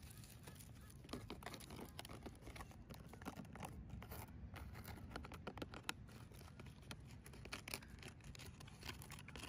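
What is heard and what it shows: Long decorated fingernails scratch and tap along the dry, grey, fibrous leaf-base husks covering a thick, solid palm tree trunk rooted in place outdoors. Dense, crackly scratching and brittle clicking taps continue throughout, over a steady low rumble.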